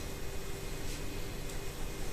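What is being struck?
Nothing is struck.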